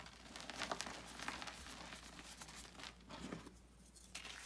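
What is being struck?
Pressed gym chalk block.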